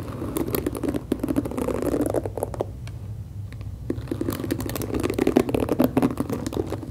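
Long acrylic nails scratch and tap across the black plastic bristles of a hand-sized, hollow-backed pink plastic detangling brush held near the mic. The result is a dense stream of dry crackly scratching and rapid ticking clicks with a warm, mid-low body. The sound thins to a quieter scrape around the middle before building back up.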